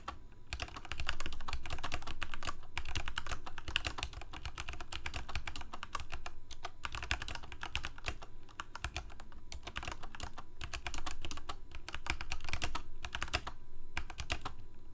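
Fingertips of both hands type rapidly on a full-size Corsair K68 backlit plastic mechanical keyboard with Cherry MX Red switches. The result is a steady stream of quick, dry, clicky key taps with bright clatter and a low thud beneath, broken by brief pauses between bursts.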